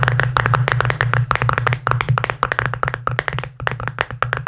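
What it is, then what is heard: Plastic tub, hollow. Fingertips tap rapidly on the side and lid of a small, round, hollow pink plastic tub held in one hand. It makes a dense run of quick, hollow clicking taps with a low, boomy body resonance. Each tap dies away quickly.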